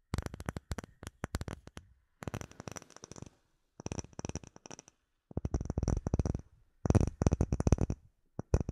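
Fingertips and short nails tap a flat, solid, clear acrylic plate with embedded bubbles, held in both hands. Quick bursts of dry, short taps come with brief pauses between them. Each tap has a heavy low thump, a little brightness on top, and almost no ring.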